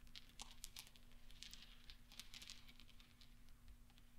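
Fingertips sweep and roll small solid steel pachinko balls across velvet so they knock together, giving a quiet scatter of many bright, short metallic ticks and clinks over a soft rustle. A low, steady hum runs underneath throughout.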